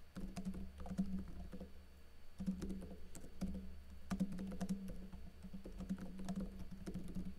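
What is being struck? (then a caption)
Plastic laptop keyboard keys. Fingertips with blue-painted nails type densely on a plastic backlit laptop keyboard with plastic keycaps. Quick, soft clicky taps come in bursts over a steady low hum near 200 Hz, with brief pauses between runs of keystrokes.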